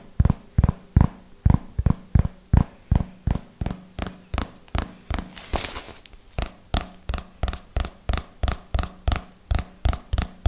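A closed red hardcover notebook is tapped with fingernails along its cover and edges in a slow, steady rhythm of 31 short, dull, low thunks that stop dead with almost no ring. Near the middle, the tapping pauses for a brief, brighter scratchy sweep before it resumes, all over a faint low hum.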